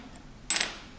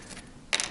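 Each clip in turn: First: synthetic guitar nut with a glass-like ring. Second: plastic guitar nut.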